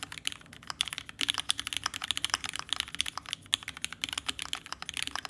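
A red, ergonomic Alice-layout TGR Alice mechanical keyboard, valued at $6000, with Vintage Black switches, an aluminum case and plate, and pink and white plastic keycaps sits on a desk mat. It is typed on continuously with the fingertips of both hands. Rapid, crisp key presses give dense, clicky taps that are bright and high, peak near 3.3 kHz, and die away almost at once, with hardly any low thump.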